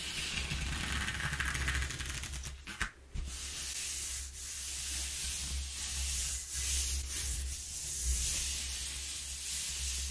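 Fingertips and nails rub and scratch across the exposed ridges of a single-face corrugated cardboard sheet. The result is a steady, bright, raspy scraping over a low, constant hum, with a short break at about three seconds before the scratching resumes and carries on to the end.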